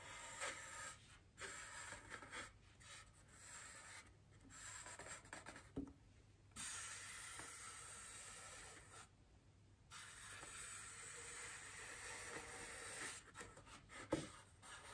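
Both hands rub and scratch the surface of a large, solid white polystyrene foam wreath ring on a table, using their fingertips and long green nails. The result is a dry, bright, squeaky scratching in short bursts with quiet gaps, then longer steady rubbing passes. It ends with a sharp scrape near the end.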